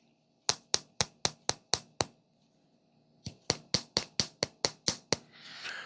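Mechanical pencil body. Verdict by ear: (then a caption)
Not metal. A "forever pencil" sold as metal is held up to a microphone and tapped 16 times: a run of seven sharp, bright clicks, a pause, then nine more, followed by a soft rustle. The short, dry ticks sound like plastic rather than metal, suggesting only the tip of the pencil is metal.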